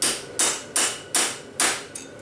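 A steel bearing race is tapped down against its retaining clip with a thin punch and hammer, producing six sharp, bright metallic taps with short ringing tails, the last one softer. The solid thud of the taps shows the race has bottomed out and is fully seated.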